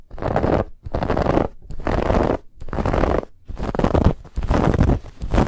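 Long fingernails scratch quickly across a soft, stuffed white fabric pillow with a woven textured band. Dense, raspy scratching comes in rapid bursts separated by brief pauses, with a full, low-weighted body from the padded fabric.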